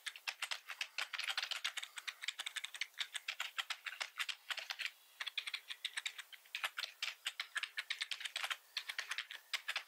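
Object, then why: Plastic membrane computer keyboard. Both hands type rapidly with the fingertips on a black plastic membrane keyboard with red accent keys, resting on a wooden desk. Dozens of quick, bright, clacky keystrokes with almost no low end and very short decay follow one another, with brief pauses near the middle and toward the end.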